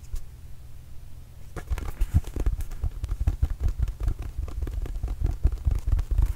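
A hollow, inflated red and blue Arizona Wildcats rubber mini basketball is tapped and patted with fingertips right next to the mic. After about a second and a half of near silence, a rapid, uneven stream of soft, dull, low thumps begins. Each thump dies away almost at once and carries faint crackly clicks on top.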